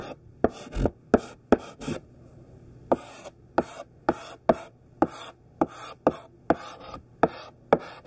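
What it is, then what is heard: Chalk writing on a chalkboard. A thick pink sidewalk chalk stick held in the hand writes the word "CHALK" on a large, flat black chalkboard. It makes a series of short, dry, scratchy strokes with bright, hissing tops, with a brief pause partway through.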